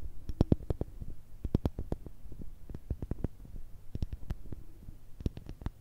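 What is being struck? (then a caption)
Pumice stone. Long red acrylic nails tap and scratch a palm-sized, solid, porous light-grey pumice stone held in both hands. Quick, dry clicks come in uneven bursts with soft, low scraping between them, and each tap dies away almost at once.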